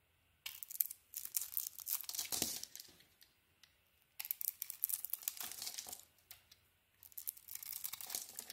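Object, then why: Bar of soap shaved with a knife. A solid dark green bar of soap with a light green core is shaved with a knife blade in three scraping passes. Each pass gives a bright, dry, crackly scrape made of many small rapid crunches, separated by short silences.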